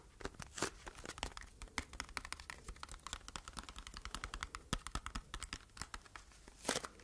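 A small, hollow, red printed cardboard box is tapped and scratched with long red nails close to the microphone. Quick, dry clicks and crinkly scratching run throughout the clip, with brighter, harsher bursts near the start and end. The sound is quiet and intimate.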